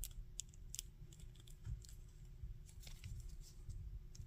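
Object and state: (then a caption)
Plastic action figure joint clicks. Fingers and thumbs twist the arm joints of a small hard-plastic articulated Spider-Man action figure and handle its back. Quiet, dry joint clicks with bright, high-pitched ticks sit over a soft low rumble.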